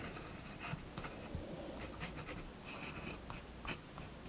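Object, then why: Fineliner pen on paper sketchbook page. A fineliner pen draws steady lines across a page of a spiral-bound paper sketchbook resting on a wooden table. Soft, dry scratching strokes come in short, bright bursts over a low, steady background rumble.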